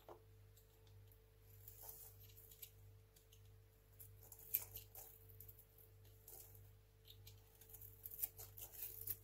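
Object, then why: Small bar of soap cut with a craft knife. A small, solid, dry white hotel soap bar held in the fingers is cut and scraped with a craft knife blade. The result is a quiet run of crisp, dry scratching and short bright crackles over a steady low hum, growing busier toward the end.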